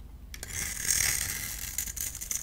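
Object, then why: Solid bar soap. A hand-held solid pale green bar of soap has its surface grid-scored and shaved with a multi-blade cutter. The cutter makes a bright, dry scratching and scraping sound, with short crisp rasps standing out near the start and again toward the end.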